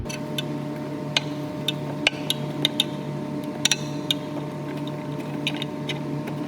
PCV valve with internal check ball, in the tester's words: shake it until you hear the little ball inside clicking